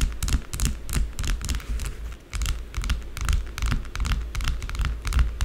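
Long blue acrylic nails tap and scratch quickly at a small, solid, rectangular white bar of soap with embossed lettering, lying on a dark table. Crisp, bright clicks and scraping strokes come in fast, uneven bursts over a steady low rumble, each one dying away almost at once.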